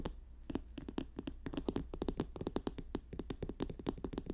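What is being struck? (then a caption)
Paper notebook. Fast tapping and scratching on a paper notebook, with quick sharp taps coming in a steady dense stream. Each tap is dry and short, with almost no ring and a papery midrange tone over a low background hum.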